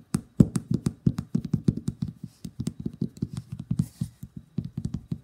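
A small glass nail polish bottle, full of red polish and with a white plastic cap, is held over a paper towel and tapped and scratched with the fingernails. About thirty quick, dull, low taps come in a steady, uneven patter with no ring, and a faint, bright scratching sits between them.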